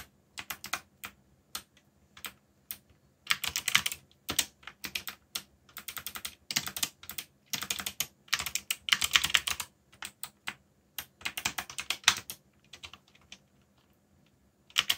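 Fingertips type continuously on the plastic keycaps of a black, backlit mechanical keyboard. Quick, bright, clicky keystrokes come in rapid bursts with short pauses between them. Each press cuts off almost at once, with little low end.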